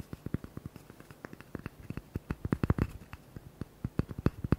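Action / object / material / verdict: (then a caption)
tap / cork coaster / cork / none. Fingertips and nails tap and scratch a small, flat, rectangular cork coaster held close in front of the microphones. A rapid, irregular run of short, dull, low-heavy taps sounds with almost no ring, mixed with faint scratchy texture. The taps are clustered densest and loudest in the middle.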